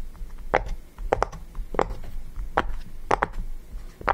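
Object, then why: Silicone pop-it fidget toy. A yellow round silicone push-pop fidget toy rests on a table while fingertips press and pop its hollow bubbles. Soft, hollow pops come in quick clusters, each a short muted thud with a mid-range body and almost no ring, over a low background rumble.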